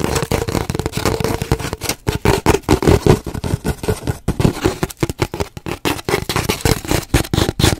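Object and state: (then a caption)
Empty cardboard paper towel tube, hollow. Long nails rapidly tap and scratch the surface of an empty, hollow cardboard paper towel roll held horizontally close to the mic. The irregular flurry of short, dry hits gives off a hollow, boomy tone around 370 Hz, with scratchy rasps between taps. Each tap dies away almost instantly.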